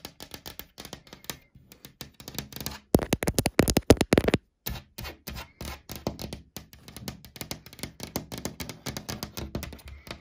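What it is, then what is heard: Laminated cabinet panel. Long dark, glitter-polished nails quickly tap and scratch a flat wood-grain laminated panel of a wardrobe or cabinet, likely chipboard, on a large solid surface near the door edge. Dense, uneven clicks and short dry taps with a dull low thump run throughout. A louder, brighter burst of scratching comes near the middle before the softer tapping resumes.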